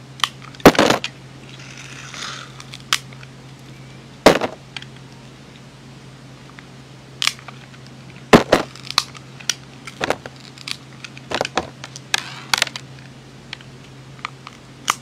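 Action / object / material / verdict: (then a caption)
scrape / soap bar scraped with a metal blade / soap / none. A metal utility blade scrapes the mint and grey glitter coating off a solid, hand-sized white soap bar. Sharp, dry crunches and crackling snaps come in scattered bursts between softer scraping, over a steady low hum.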